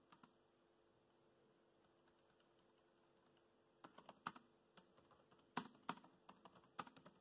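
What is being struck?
Plastic laptop keyboard.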